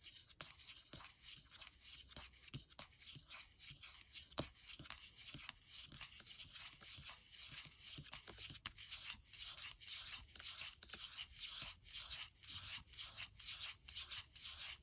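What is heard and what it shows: Fingertips and nails rub and scratch the aluminium palm rest of a gold MacBook Air in a sanding-like motion. The result is a steady run of bright, hissy scraping strokes at roughly two per second, with a few sharper clicks standing out.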